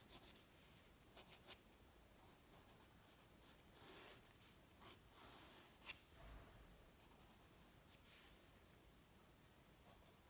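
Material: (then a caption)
Paper. A graphite pencil rubs and scratches long strokes across a flat white paper drawing sheet resting on a wooden table. The result is a quiet, steady, breathy scratching with bright, gritty swells as the strokes rise and fade.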